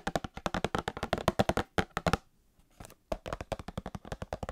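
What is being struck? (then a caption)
Small cardboard box with card packs inside. A small printed cardboard Star Wars trading card box with card packs inside, held near the microphone, is tapped fast with long painted nails. About 31 quick, dry, hollow taps come in two bursts separated by a short, quieter pause with faint soft handling.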